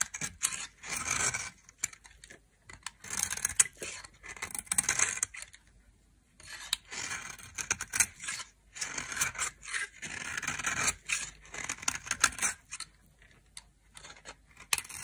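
A knife scrapes and carves flakes from a hand-held, dry, solid white soap bar with a red edge. Bright, dry scraping and crackling comes in repeated bursts separated by short pauses, with almost no low end and no ringing.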